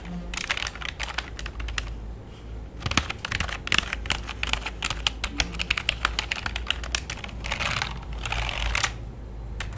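A full-size black plastic keyboard with a hollow body, resting on a lap, is typed on rapidly with fingertips. Dense, quick bursts of bright plastic key clicks arrive in fast runs with brief pauses, each click short and dry over a steady low hum.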